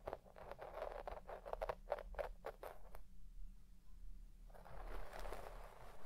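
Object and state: Shaggy synthetic carpet.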